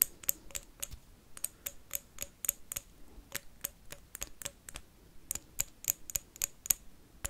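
A blue wax candle is tapped and scratched with paperclips in a fast, irregular run of about 25 sharp, bright clicks over a quiet, soft hiss. Each tap is dry and stops instantly with no ring, giving a light ticking, keyboard-like clatter.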